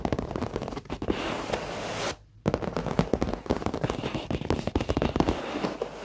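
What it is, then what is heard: Leather office chair seat. Fingertips and short nails of both hands tap rapidly on a dark padded leather office chair seat, soft over foam, making a dense crackle of dull, dry taps with short clicks. The tapping pauses briefly just after two seconds, then resumes just as fast and uneven until the end.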